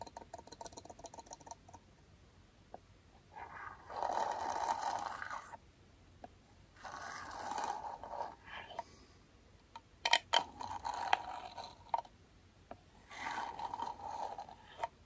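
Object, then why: Small aluminum tin. Comb teeth are scraped firmly along the rim and side of a small, round, closed aluminum beard balm tin held in the hand. Quick ticking clicks give way to several longer bursts of harsh, rasping scraping with a bright metallic edge, separated by short pauses.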